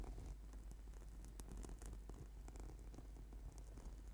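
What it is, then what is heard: Foam yoga mat. Clawed fingertips and nails of both hands scratch the surface of a flat purple sticky yoga mat, a solid sheet of rubber/PVC foam. The scratching makes a soft, steady purring rustle over a deep low rumble, with brief bright scrapes flickering throughout.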